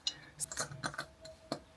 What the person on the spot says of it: It's glass though. I'm only tapping because it's glass so you can see that.